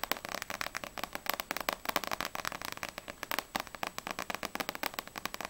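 Long nails tap quickly on the glossy paper front cover of Ousama Game Extreme volume 1, a small, solid paperback manga book held upright. The result is a rapid, steady run of dry, bright clicky taps with almost no low end and no ring after each tap.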